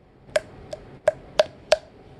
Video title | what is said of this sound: custom godzilla ultima review | you hear that it's hollow